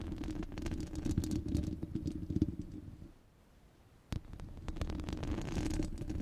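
Long red nails scratch across a rounded, hollow steel wire-mesh microphone grille, making a dense, rumbling rasp that is heavy in the lows with a steady tone around 300 Hz. The scratching stops for about a second of near silence, then a sharp tap brings it back.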